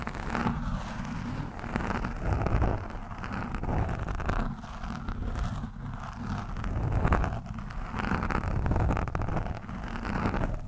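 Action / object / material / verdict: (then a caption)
scrape / foam microphone windscreen scratched with a steel screwdriver shaft / foam / none. The thin steel shaft of a screwdriver scratches and pokes a soft, porous orange foam windscreen on a microphone. It makes a dense, muffled crackling and rustling with deep low rumble, swelling and easing in waves throughout. There is almost no bright content.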